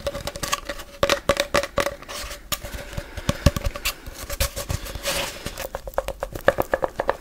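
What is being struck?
Cardboard tube.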